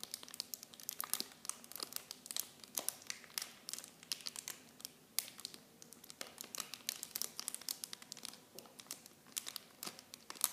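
Clear plastic film packaging wrapped around miniature blue Nivea bottles is squeezed and crinkled by fingers with long painted nails. A steady stream of sharp, bright crackles and crinkles comes in dense, quick bursts with almost no low end, each snap dying away almost at once.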